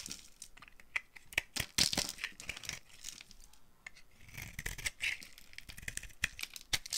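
A dry, solid green-and-white marbled bar of soap held in the hand is carved with a green-handled utility knife blade, scraping and flaking it. The result is a bright, crisp run of short scrapes and crackly flaking ticks with sharp clicks and almost no ring.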